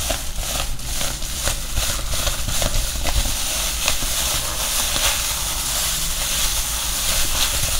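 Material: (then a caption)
Foil, foam. A medium-sized bag of silver foil-covered insulating foam is held in both hands and crinkled and rubbed with the fingers. The result is a steady, dense crackling rustle with bright hiss and a low rumble underneath, with few sharp onsets.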